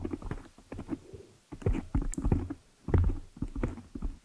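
Long nails scratch and rub over a large, soft, porous black foam windscreen on a microphone. The result is muffled, bassy scratching and rustling in irregular bursts, with no high-frequency content.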